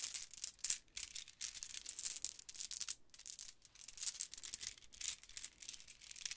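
A multicolor pearlescent plastic Mardi Gras bead necklace of hollow round beads is piled in a palm and rubbed with long nails, then lifted and dangled so the beads rattle. The result is quiet, bright, high-pitched clicking, scratching and rattling in dense, overlapping bursts with almost no low end.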